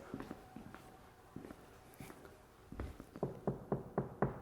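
Taps on the door of a Corvette convertible whose entire interior is lined with Dynamat sound-deadening material. The taps are short, dull and low-pitched, with almost no ring, and grow louder and more regular toward the end. The door sounds solid, and the deadening gives the car a quiet ride.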